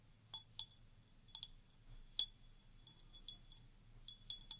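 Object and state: Wine glass with water, ringing.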